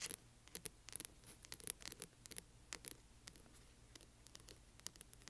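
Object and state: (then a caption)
Hardcover book scratched with nails. Fingernails scratch the spine of a large hardcover book, then move to its front cover. The sound is a quiet series of quick, dry, bright scratches and ticks with almost no ring, over a low, soft background hum.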